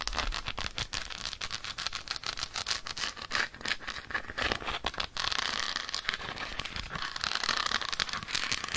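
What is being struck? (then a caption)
Dark chocolate bar. Long acrylic nails rapidly tap and scratch the surface of an unwrapped solid dark chocolate bar held in the hand. The result is a dense stream of crisp, bright clicks and dry scraping with little low end, shifting after about five seconds into steadier, louder scratching.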